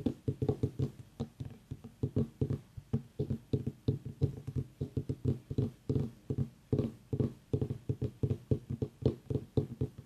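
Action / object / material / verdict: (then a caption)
tap / small white ribbed pumpkin / pumpkin rind / none. Long nails tap and scratch along the ribs of a whole white ribbed mini pumpkin turned on its side. Dozens of quick, dull, low hollow knocks near 130 Hz die away almost instantly, with faint scratchy brushing between them.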